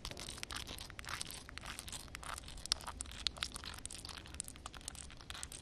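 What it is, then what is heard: Wet concrete surface. Long red nails tap and scratch across flat, wet concrete ground covered by a reflective film of water. The result is a dense run of quick, dry, crinkly scratches and sharp clicks, mostly bright and high, with a low rumble underneath. A few louder taps stand out near the middle.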